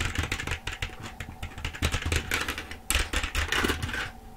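Rapid typing on a black plastic full-size keyboard held in front of the face, using the long nails and fingertips of both hands. Dense, bright plastic clicks and clacks come in quick bursts over a low steady hum, with a louder flurry of keystrokes near the end before it tapers off.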